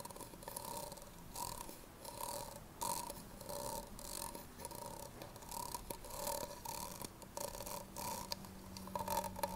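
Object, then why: Thin plastic cup. Long nails tap and scratch the side and base of an empty, hollow red plastic party cup held sideways. Quick, dry plastic clicks ring briefly with a hollow tone near 930 Hz, mixed with bright, hissy scratching bursts. The sound is quiet and steady throughout.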